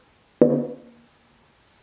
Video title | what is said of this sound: How to Tap Tune the Soundboard tone bars. | it's the sound board but it's also the tone bar